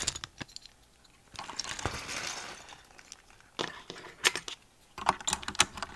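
A full-size green mechanical keyboard with cream and green plastic keycaps, some switches still bare, has keycaps pressed and tapped into place on the right side by fingertips with long nails, then is typed across. Sharp, bright plastic clicks and clacks come in scattered bursts, with a softer rustling stretch in the middle.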